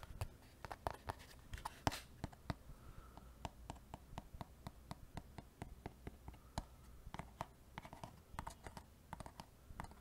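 A small, hollow white cardboard box that appears empty is held close to the microphone in one hand and tapped and scratched with the fingertips and nails of the other. Quiet, quick, dry taps come in an irregular stream, each with a dull, hollow low thump and a short bright click that dies away almost at once. Soft scratching rustles fill the gaps.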